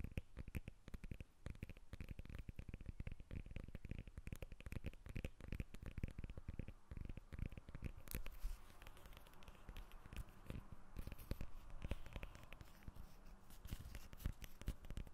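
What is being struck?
Whole lemon, tapped and scratched on its peel.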